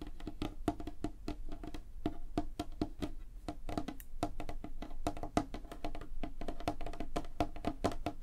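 Long fingernails on both hands tap fast across a large, flat, solid light-wood tabletop. The result is a dense, continuous stream of dry, clicky taps that die away almost instantly, each carrying a hollow woody tone around 300 Hz with faint bright edges.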